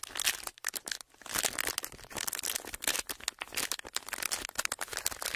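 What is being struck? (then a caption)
Clear plastic wrapper. A folded strip of clear plastic wrapper is squeezed, bent and crinkled with fingertips. The result is a dense run of bright, crackly crinkles with many quick, sharp snaps and almost no low end.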